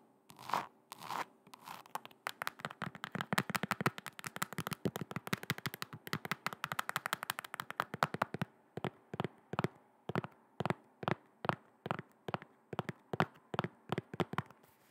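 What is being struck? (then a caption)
Faux leather heeled boot. Long red nails tap on the upper of a hollow, empty silver metallic faux leather heeled boot held up close. After a couple of scratchy strokes, a fast flurry of short, dry, clicky taps settles into slower, evenly spaced taps.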